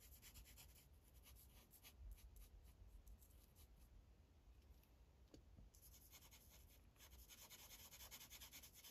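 A magenta Sharpie felt tip scribbles in short rubbing strokes across a thin white coloring page on a plastic clipboard. Quiet, steady scratchy strokes give a bright, papery hiss over a low rumble, with a brief softer stretch before the strokes pick up again.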